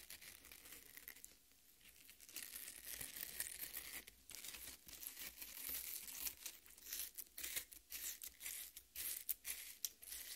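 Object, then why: Half watermelon, flesh scratched by fingernails. Long red nails dig into and scratch the flesh of a half watermelon resting on a plate. The result is soft, bright tearing and crinkling scrapes that come in irregular bursts, mostly high-pitched with little low end, growing more choppy and distinct toward the end.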